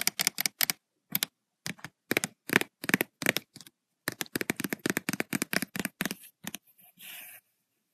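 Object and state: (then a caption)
Spiral paper notebook. Long acrylic nails with white and red polish tap on the page of an open lined paper notebook with black metal spiral binding, its stack of pages lying flat and solid. Quick runs of sharp, bright clicks come in short bursts with brief pauses between them, and a short, soft scratching rasp across the page follows near the end.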